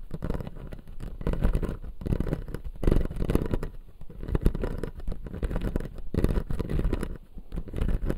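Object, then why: Acrylic dental jaw model with resin teeth. Fingertips and nails scratch and tap the front teeth of a hand-sized dental model: a clear blue-tinted acrylic jaw with white resin teeth, lit from below. The sound is a steady, dense run of soft scratches and quick taps, heavy in the low end with almost no brightness. It rises and falls in short waves over about eight seconds.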